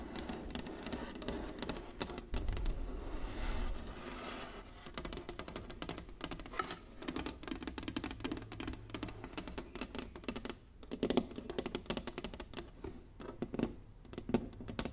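Long nails and fingertips tap quickly across an inlaid wooden chessboard resting on a table. The result is a dense, steady patter of short, dry clicks over soft, low knocks, with brief louder bursts near the middle and end.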